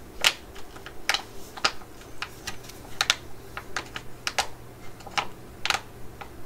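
A laminated plastic pouch holding a tub of mugwort pads is held in the hands and tapped and scratched with long nails. A series of short, sharp, bright clicks and scratches sounds in an uneven rhythm, each dying away at once over a faint low hum.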